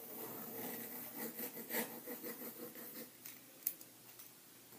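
A green pencil writes and scratches across white lined paper in an open ring binder resting flat on a table. A soft, continuous scratchy rustle runs through the first three seconds, with bright friction and a faint steady hum underneath. It thins out after that, broken by a few sharper clicks near the end.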